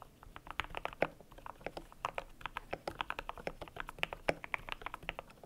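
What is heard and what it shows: Fingertips type steadily on a cream compact mechanical keyboard with PBT plastic keycaps. About three dozen short, dry clacks fall in quick, uneven succession, each with a mid-pitched body around 570 Hz, a bright top and almost no ring. The sound is quiet overall with little low end.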